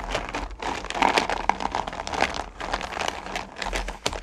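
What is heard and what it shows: Both hands dig deep into and stir small solid candy corn pumpkins in a purple plastic bucket, with long nails rubbing against the candies. A dense, continuous clatter of crisp, bright clicks and rattles rises and falls in waves, with sharper accents sprinkled throughout.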